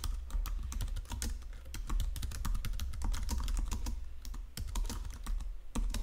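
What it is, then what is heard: Plastic computer keyboard being typed on. Both hands type continuously with their fingertips on a full-size white-and-silver plastic Logitech wireless keyboard lying flat on a marble surface. A dense, steady stream of short, dry key clicks and taps, each with a low thump and a bright tick, runs unbroken for about six seconds.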